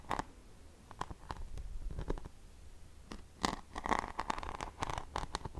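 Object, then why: Hairbrush back covered in glued rhinestones and pearls. Fingertips and long painted nails tap and scratch across the flat back of a paddle hairbrush covered in glued rhinestones and pearls, with a silver handle, while it is held in the other hand. Quiet, dry clicks and scratchy rubs with almost no ring sit over a soft low rumble. The taps grow denser and louder in the second half.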